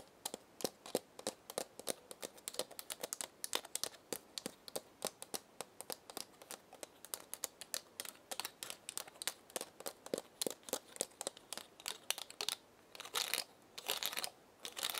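Long red nails tap and scratch across the woody scales of a single dry pinecone held in the hand. A rapid, uneven stream of sharp, bright clicks plays over a near-silent background, with brief scratchy rasps near the end.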